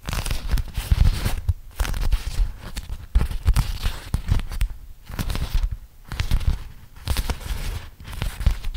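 A flat printed beeswax-coated cotton food wrap, about 30 cm across, is held in both hands while fingertips crinkle and flex the stiff waxed fabric. Dry crackling and crinkling come in irregular bursts with short quiet gaps, with a heavy low rumble under sharp, brief snaps.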